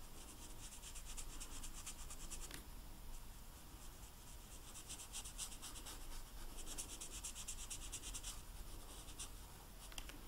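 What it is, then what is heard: Marker scratching on royal icing cookie. A blue food-coloring marker held in a hand rubs and scratches across the dry, hard white royal icing of a large, flat, solid vanilla sugar cookie printed with a snowman. It makes a steady run of quick, bright, papery scratching strokes over a low, constant rumble.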